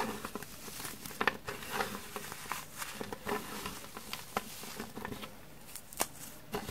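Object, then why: Crumbled green floral foam. Hands crush, rub and pinch a pile of small, frozen, dark green floral foam crumbs on a wooden table, breaking them into finer bits. The result is a stream of soft, dry crackling and crunching, with sharp bright snaps standing out here and there among quieter gritty rustling.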